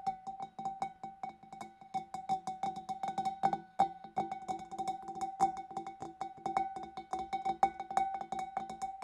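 Long dark nails tap quickly and steadily on the neck and rim of a large, clear, empty glass fish bowl. Each tap is a short, bright click with a clear glassy ping pitched around 780 Hz that dies away almost immediately, forming a fast, uneven patter.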